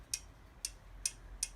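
A steel valve tappet on a Yamaha XVS 1100 motorcycle engine, its clearance reset from too tight to 0.15 mm, is rocked by hand. Four sharp, bright metallic ticks sound at even intervals with very short ring. The tappet moves freely and taps as it should, showing the clearance is now correct.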